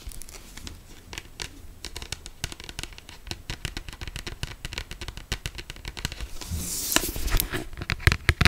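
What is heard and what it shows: Long black pointed acrylic nails tap and scratch the glossy paper front cover of a closed paperback novel held in both hands. Rapid, irregular dry clicks and crisp scratches fill the clip, swelling into a louder, brighter rasping scratch near the end.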